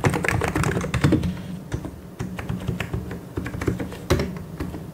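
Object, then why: Plastic mechanical keyboard. Fingertips press and tap the keys of a white and grey plastic mechanical keyboard in quick, uneven bursts. The keystrokes sound clacky, with a full, low body and short, dry clicks. A dense flurry at the start thins into sparser taps, then a louder cluster returns near the end.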